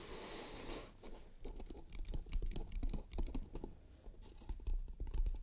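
Long red nails tap on the lid and edges of a small, closed, hollow octagonal painted wooden trinket box with teal, black and red stripes, a metal latch and a large button on the lid. Quick, light taps and scratches are heard after a brief soft hiss at the start, with hollow low thuds and short, clicky decays.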